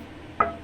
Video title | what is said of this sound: 알베이스 대한 좋은이해 -3, Rbass Visit -3 | look at the tone on that. Look how dark and deep it is.